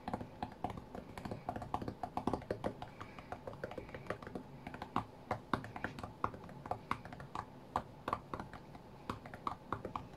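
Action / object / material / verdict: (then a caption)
tap / glass-screen tablet / glass / none. Fingertips tap densely and quickly on the glass touchscreen of a flat white iPad while playing a rhythm game. The short, dry taps come in a fast, uneven rhythm with a soft knocking tone, over a faint steady background hum.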